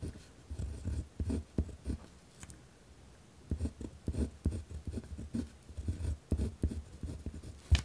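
A pen tip scratches across a white lined paper pad resting on a wooden desk while writing. Short, rough scratching strokes come in irregular bursts, mostly dull and low, pausing for about a second before quicker strokes resume and end on a sharper scrape.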